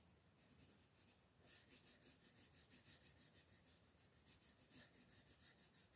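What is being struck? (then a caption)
Wooden colored pencil on a paper coloring page. A brown wooden colored pencil is rubbed back and forth over a flat printed coloring book page lying on a table, shading a curtain at the right edge of the page. After a softer, faint scratching at first, the strokes settle into a steady, quick rhythm of bright, papery scratches, about three per second. The result is a quiet, hissy rubbing texture with little low end.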